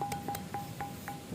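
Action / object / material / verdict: strike / andesite stone block / andesite / ringing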